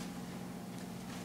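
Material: Nothing is struck.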